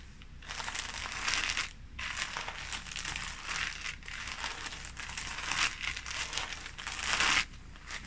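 Fingertips press, rub and scratch a clear thin plastic bag holding a folded red polyester sports shirt with tags, lying flat on a red bedsheet. The result is a dense, bright crinkling in several bursts, with brief quieter pauses near 2 and 7.5 seconds and little low-end weight.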